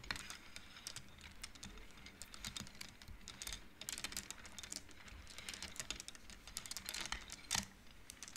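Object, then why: Wooden abacus beads. Long nails flick and slide painted wooden beads along an upright wooden-frame abacus with both hands. The result is a quiet, rapid patter of short, bright wooden clacks that bunch into quick bursts. Each click dies away almost instantly.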